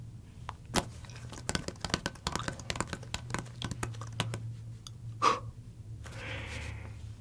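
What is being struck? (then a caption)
Leather football. Fingertips and nails tap and scratch the pebbled leather surface and laces of a full-size, hollow, inflated Wilson American football held in both hands. A rapid series of sharp, dry taps and clicks plays over a steady low hum, with a brief ringing tone near 1.1 kHz around 5.3 seconds. It ends in a softer, brighter scratching rustle.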